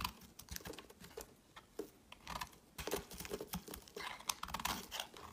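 A hand-sized solid green bar of soap, held in the hand, is scraped and carved with a metal utility knife blade, shaving off crumbly pieces. It makes a run of quick, dry, crisp scraping and crunching strokes with a bright edge and no ring after each one.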